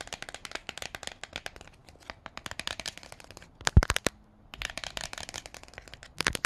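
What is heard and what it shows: Fingertips with paperclip-tipped nails rapidly tap and scratch the laminated cardboard cover of *The Silver Slippers*, a hardcover children's book. The result is a dense run of short, dry, bright clicks and scrapes, with a louder burst near the middle and a brief quiet gap before the tapping resumes.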